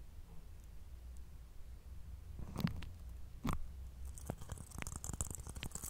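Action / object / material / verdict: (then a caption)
scrape / whole coconut with fibrous husk / coconut husk / none. A whole, fist-sized brown fibrous coconut with a hollow shell that looks intact is held in both hands close to a microphone while its hairy husk is scratched and rubbed with the fingertips and nails. Soft, crackly scratching sits over a steady low rumble, with two louder crunchy bursts in the middle. The sound then turns into denser, brighter rasping toward the end.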